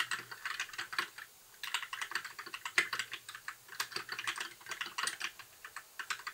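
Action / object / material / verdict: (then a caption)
tap / mechanical keyboard with plastic keycaps / plastic / none. Fingertips type steadily on a compact white mechanical keyboard with plastic keycaps, making a quick run of bright, crisp clacks with almost no low end. There is a short pause about a second in before the typing resumes. Each keystroke dies away almost instantly.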